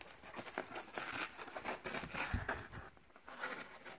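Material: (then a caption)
Cardboard. Fingertips and short nails pick at, peel and tear the paper layers of a thin, flat, torn piece of brown corrugated cardboard box wall, and scratch along its exposed ridged flutes, held close. The result is a quiet, close run of dry, scratchy tearing and crinkling bursts with a bright papery texture and short, uneven pauses.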